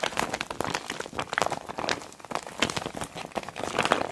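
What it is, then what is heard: Clear PVC makeup bag. A small clear PVC zip makeup bag with a neon green zipper, full of cosmetics, is pressed and squeezed flat by palms and long black-nailed fingers. The plastic crinkles and crackles in a dense run of short, dry, bright bursts with almost no low end.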